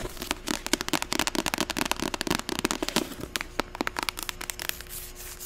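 Long acrylic nails tap fast on the cover and spine of a medium, closed white-covered paperback novel, *41 Ways to Die*. About 23 sharp, dry, bright clicks come in a rapid, uneven run, each one stopping dead with no ring. A faint steady low tone hums underneath, and the taps grow lighter near the end.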